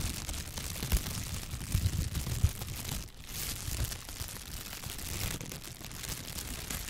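A clear, thin plastic shower cap is stretched wide between both hands, then bunched up and crinkled with the fingertips close to the microphone. It makes dense, continuous crackling with a bright hiss over low, thumpy handling noise. A few sharper pops stand out early, then the sound settles into steady rustling.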